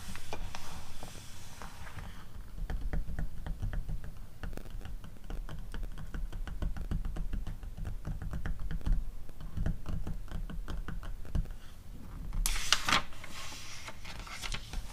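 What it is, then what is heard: Glossy paper magazine. Long acrylic nails tap and scratch across the pages of an open glossy paper catalog. A steady run of quick, dry taps with a low, dull body carries through the clip, and a brighter, hissy scratching burst rises near the end.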